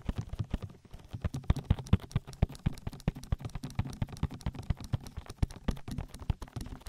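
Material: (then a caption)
Silicone. Flat fingers and fingertips pat and rub an oily silicone ear on a binaural microphone, giving a dense run of soft, rapid, low thumps with brief wet, slick rubbing between them. Each pat is a dull, deep tap that dies away almost at once, and the patting keeps up an irregular, galloping rhythm throughout.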